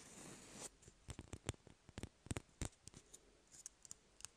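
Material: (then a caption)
Cardboard. Fingernails scratch and tap on an empty, hollow cardboard toilet paper roll held in the hand. A soft, hissy scratching for the first half second gives way to a quick series of dry, sharp taps that die away almost at once, some landing in close clusters. The sound is quiet and close, with a hollow low thump beneath a bright click.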